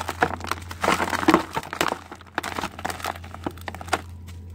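Fingertips and nails crush and rub large, dried red soil clods, solid and crumbly, held over a white bowl of loose red dirt. The result is a dense run of dry, crackling crunches and gritty rustles as crumbs fall onto the pile. A faint steady low hum sits underneath.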